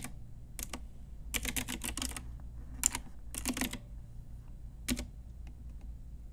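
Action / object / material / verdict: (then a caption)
tap / plastic mechanical keyboard keys / plastic / none. Long nails and fingertips tap the round plastic typewriter-style keycaps of a full-size pink Ajazz retro mechanical keyboard with a hollow plastic case. Bright, sharp clicks arrive in uneven bursts, some quick runs and some lone taps. They sit over a low, steady hum.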